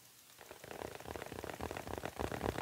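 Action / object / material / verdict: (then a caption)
tap / foil (mylar) balloon / foil / none. A small, round, printed foil "Happy Birthday" balloon on a stick, hollow and air-filled, is held in both hands and tapped and scratched with the fingertips. After a brief quiet start, a dense run of soft, crinkly taps and scratches builds steadily louder. The taps are dry with almost no ring, and their energy sits mostly in the low-mid range.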